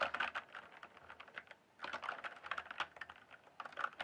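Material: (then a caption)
Plastic. Fingertips type rapidly on the plastic keycaps of a full-size RGB-backlit mechanical gaming keyboard, producing a dense stream of short, crisp clicks centered in the midrange with some bright edge. The typing pauses briefly near the middle before resuming, and each keystroke dies away almost instantly.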